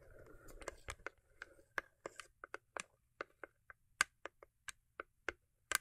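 Long acrylic nails tap and scratch the lid of a small, hollow, cube-shaped rigid cardboard gift box with a holographic foil-paper covering, resting on faux fur. Soft, hissy scratching in the first second gives way to a string of sharp, dry, clicky taps with a hollow tone near 1.5 kHz and bright edges, each dying away almost instantly.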